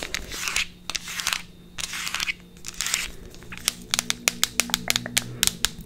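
A small cylindrical plastic tube of effervescent vitamin C tablets with an orange plastic cap, likely still holding the tablets, is scratched with long nails and turned in the hands, making soft, hissy, crinkly swells. This shifts into a run of sharp, bright, dry taps of the nails on the plastic.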